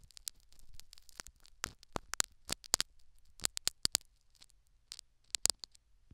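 A metal syringe needle scratches and pokes the foam plug in a silicone dummy ear microphone in quick repeated strokes. The result is a rapid run of sharp, dry, bright clicks and scratchy ticks with almost no ring, scattered unevenly over a faint low rumble.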